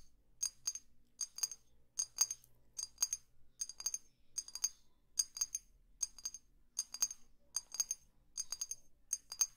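A small, clear, hollow glass perfume bottle held sideways is tapped slowly with long fingernails. Bright, high-pitched clicks come in short clusters of two or three, separated by brief pauses, and each tap dies away almost instantly.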